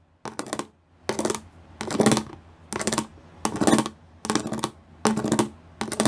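Long nails tap quickly across the raised studs of a gray plastic studded sheet. The sound comes in about eight separate bursts of rapid, bright clicking with a low plastic tone under it. Each burst fades before the next begins.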